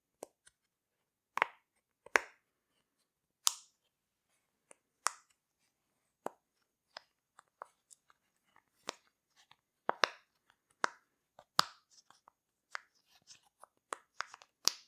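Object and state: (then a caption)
Silicone pop-it fidget toy. A rainbow heart-shaped silicone pop-it fidget toy has its bubbles popped by pressing with fingertips and long nails. The result is a series of short, sharp pops and clicks with a bright, crisp snap, each dying away almost instantly, with quiet gaps between them.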